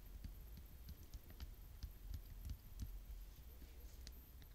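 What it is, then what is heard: Plastic paint bottle. A full purple plastic paint bottle is held and tapped with long fingernails. Quick, irregular taps make soft, dull low thuds with faint bright clicking over a quiet low hum.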